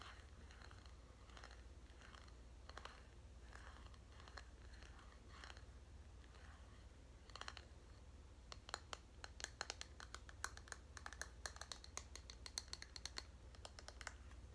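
A purple hollow plastic detangling hairbrush with a perforated, vented back is rapidly tapped and scratched with long nails. Soft, bright scratching strokes give way to a dense run of sharp, quick plastic clicks over a low steady hum.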